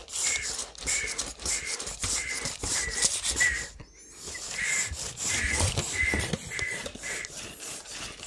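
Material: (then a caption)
Steel. A handheld steel tape measure with a blue plastic case has its long steel blade pulled out of the hollow case and slid back in by the fingers. The rubbing and sliding makes a steady run of short, bright, scratchy swipes with a faint mid-range whistle in each stroke. There is a brief near-silent gap with a thin high chirp just before the four-second mark, then the strokes continue.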